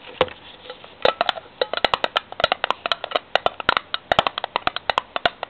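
Rapid tapping on a metal tin produces a dense run of short, bright, hollow clicks with very little ring. The hits come in quick irregular clusters, about 33 of them, with a steady tone around 730 Hz and almost no low end.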